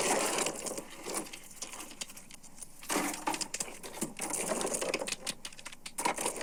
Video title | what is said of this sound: Oyster Aquaculture: A Dual Approach to Building Clean Water and Local Economies | if it's a oyster that's leaking, it sounds a little more hollow. Or if it's completely dead, whether there's still meat in there or it's just an empty shell, it sounds hollow, kind of like jingly